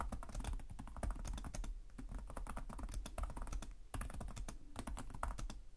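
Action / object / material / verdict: tap / plastic laptop keyboard / plastic / none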